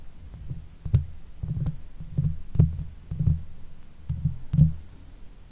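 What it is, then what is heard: Scratching on a metal mesh microphone grille. Long pale nails scratch the top of the hollow metal mesh grille of a silver Blue Yeti microphone with the fingertips. The scratching comes through as a close, muffled low rumble of rubbing and soft thumps, broken by short, sharp clicks that flick up into a bright tick.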